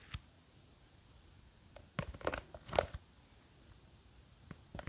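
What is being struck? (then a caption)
Plastic jar filled with gel water beads. Long green fake witch nails grip and scratch the sides of a small clear plastic jar with a white lid, held in one hand and full of blue and clear gel water beads. Quiet, irregular crinkly scrapes and taps stand out against near silence, with a busier cluster of scratching in the middle and a few light clicks at the end.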